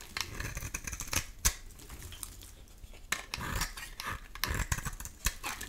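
A metal utility-knife blade scrapes and shaves curls off a solid cream oval bar of soap held in the hand. It makes a run of dry, crisp, bright scraping strokes, with a few sharper clicks standing out between quieter, softer rasps.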